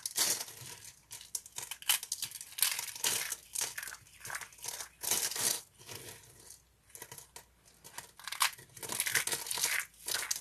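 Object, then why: Thin ridged soap sheets. A stack of thin, ridged sheets of dry green soap is squeezed and crumpled in fists. The result is bursts of dry, bright crinkling and crunching with a papery, tearing edge, each burst fading quickly between squeezes.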